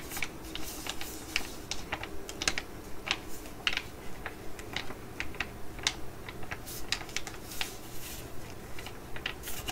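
A full, flat laminated foil Korean sheet-mask sachet, held in the hands, is tapped and scratched with long nails. Sharp, bright clicks and crinkly scratches come in an irregular, quick rhythm over a low, steady background rumble.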